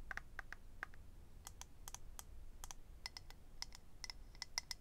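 Fingernails tap and scratch on a small, hollow, rectangular clear acrylic eyelash case holding rows of lash strips. The result is a quiet series of quick, sharp clicks with a bright, high plasticky ring that dies away almost at once, over a soft low background rumble.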